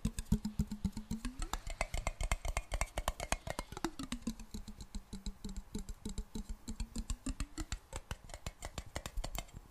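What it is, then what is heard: Glass jar. A medium clear glass jar held in both hands is tapped and scratched on its sides with long black nails. Rapid, uneven clicking taps run throughout over a low, steady tone around 215 Hz. The tone swoops upward twice and settles back down.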